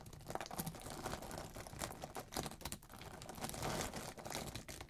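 Fingertips press, bend and crumple a pile of thin, solid, pale yellow wax flakes on a dark surface, cracking and tearing them. A dense run of quick, dry crackles and crinkling snaps comes through, with bright, sharp edges and brief louder bursts over a steady rustle.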